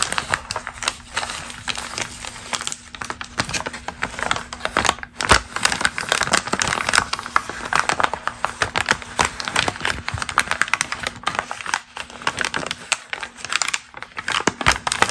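A single thin, wrinkled glossy magazine page (numbered 120/126) is pressed flat, then lifted and crinkled by fingertips with long green nails, with other pages at the edges. The sound is a dense, continuous stream of crisp, bright crackles and rustles that swell and ease in loudness over a faint steady low hum.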